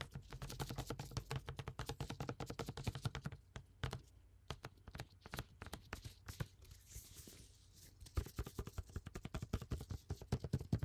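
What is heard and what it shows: A clear plastic water bottle with a blue cap, partly filled with water, is held and tapped by gloved fingertips. It gives rapid, soft, dull taps with a low hollow thump and very short decay. The tapping pauses briefly around the middle, then resumes.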